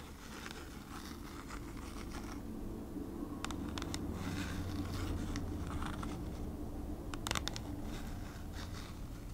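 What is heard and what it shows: Long nails tap and scratch the surface of a thin kraft cardboard packaging sleeve held upright. Dry papery scratches and sharp, bright clicking taps come in uneven bursts over a steady low hum.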